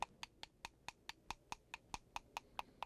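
A fully dried ink stick made of soot and glue is tapped 14 times in a steady rhythm. Each tap gives a short, clear, hollow knock like a wooden temple block, with a tone near 940 Hz and bright overtones. The clear ring marks the ink stick as fully dried and good.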